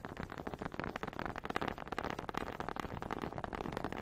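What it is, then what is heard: Wooden honey dipper. Long pink nails quickly tap and scratch the ridged head of a small, solid wooden honey dipper held in front of a microphone. The result is a dense, steady stream of rapid, dry, crackly clicks and scrapes that stop short with no ring, centered in the mid range.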